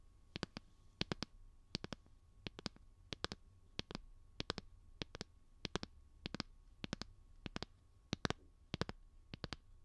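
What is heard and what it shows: A light blue, solid plastic phone case on a handheld smartphone is tapped and clicked with fingernails right next to the microphone. Sharp, dry clicks come in quick bursts of two or three, cut off almost instantly and bright at the top. A faint low hum sits under them throughout.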